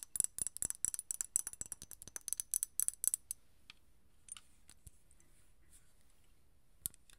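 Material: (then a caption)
Glass. Long nails rapidly tap a small, partly filled amber glass perfume bottle, making a quick, uneven run of short, bright clicks with almost no ring. The tapping stops after about three seconds, followed by faint scrapes and knocks as the bottle is lifted up, with one sharper click near the end.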